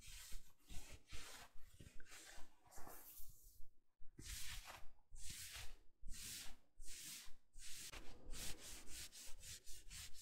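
Fingertips and nails scratch and rub the sleeves and shoulder of a navy soft plush fleece or terry bathrobe while it is being worn. Quiet, fairly regular bright scratchy strokes repeat in quick succession over a low rumble, with a brief lull partway through.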